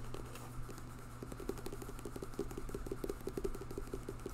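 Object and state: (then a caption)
Paperback book with glossy cardboard cover. Fingertips and nails tap and scratch the glossy cardboard front cover of a bright pink paperback novel held up in the air. Quick, light, dull taps with a faint scratchy texture come in an irregular patter over a steady low hum.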